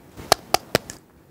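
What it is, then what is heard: Hard, fully set fiberglass cast. Four quick, dry taps on a set, hard blue fiberglass arm cast, the last one softer. Each gives a short, hollow knock centered around 700 Hz with a bright click on top, much like knocking on a door. The cast sounds fully hardened, as expected.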